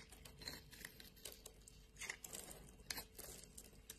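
A metal blade scrapes a solid light blue bar of soap, shaving off thin strips. The quiet, bright, crinkling scrapes come as a steady run of short, dry bursts with a few sharper peaks and almost no ring.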